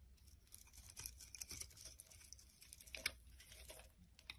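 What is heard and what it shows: A metal blade scrapes and chips a solid rectangular pink and orange bar of soap, breaking off many flakes. The sound is a quiet, dense run of dry, bright crackling and tearing scrapes with sharp ticks that die away at once. A few louder snaps stand out.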